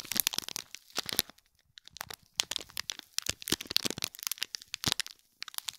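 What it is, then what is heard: Foil-wrapped gift box in plastic film being scratched. Fingernails scratch the top and sides of a small gold foil-wrapped gift box in plastic film, crinkling the wrap. Bright, crackly crinkles and scratches come in quick bursts, separated by brief quiet pauses, with almost no low end.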